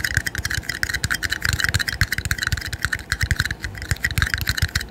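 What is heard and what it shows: Two small, empty, red disposable plastic party cups, hollow and thin-walled, are held one in each hand in front of the microphone, their rims and sides tapped together and tapped with the fingertips. The result is a quick, irregular run of light, dry taps, each a soft low thump with a crisp, hollow plastic click near 2 kHz and bright clatter above. Every tap dies away almost at once.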